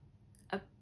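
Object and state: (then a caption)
Crystal knocked. A crystal is knocked once, giving a single short, quiet knock with a low tonal body and a brief ring that fades within a fraction of a second. Faint high tones hover just before the knock against a quiet background.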